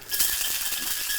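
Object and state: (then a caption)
Cocktail shaker, crushed ice nearly melted. A metal cocktail shaker holding a drink and a small amount of crushed ice gets a short whip shake. It makes a bright, continuous rattle of ice against metal, mostly high-pitched, that thins out as the ice melts down. The ice is almost gone, which shows the drink is diluting and chilling.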